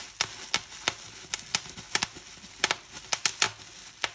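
Clear plastic bubble wrap is bunched in both hands while fingers squeeze and crumple it, popping its air cells. Eleven sharp, bright pops snap out over a soft, continuous crinkling rustle, each one dying away almost at once.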